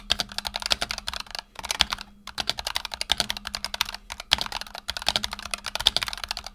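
Both hands' fingertips type rapidly on a black tenkeyless Razer Huntsman Tournament Edition keyboard with PBT plastic keycaps and optical switches, resting on a desk mat. The result is a dense stream of short, bright, crisp clacks with almost no low end and no ring, broken by brief pauses. A faint low hum runs underneath.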